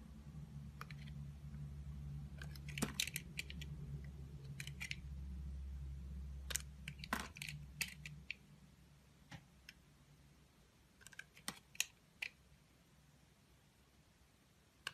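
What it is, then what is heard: Glycerin soap bar being carved. A small, solid, orange translucent glycerin-type soap bar is held in the hand and carved with a utility knife blade that scrapes and slices off thin shavings. Short, crisp, bright scraping and clicking cuts come in irregular bursts over a steady low hum that fades out after about eight seconds, leaving the later cuts more isolated against near silence.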